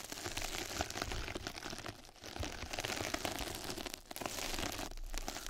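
Two mascara brushes scratch and brush across a flat yellow knitted-mesh scrub sponge pad placed over a microphone. The result is a dense, continuous crinkly rasping with a bright hiss and a soft low rumble. It briefly thins out around two seconds and again near four seconds.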